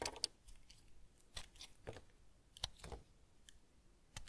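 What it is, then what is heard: Bar of tar soap being scraped. A solid semi-hard household tar soap bar is held in one hand and scraped with a small yellow-handled blade, with soap shavings over a wooden table. Quiet, dry, crisp scrapes and short bright cuts come at irregular intervals. There is a soft low rumble underneath, and each stroke fades almost at once.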